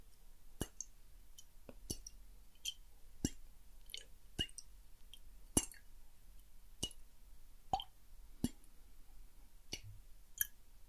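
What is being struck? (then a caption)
Small glass bottle with water. A small clear glass bottle with a silver cap, partly filled with water, is held and tilted in the hand while fingertips tap lightly on the glass. Short, bright taps ring briefly over a quiet low background, with water sloshing and plopping inside between them.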